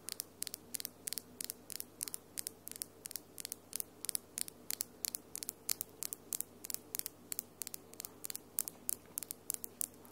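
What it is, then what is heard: Acrylic nails tapped together. Long, solid acrylic nails with glitter polish tap and click against each other in a steady series of about 50 quick, sharp, bright clicks. Each click dies away almost instantly over a quiet, faint background hiss.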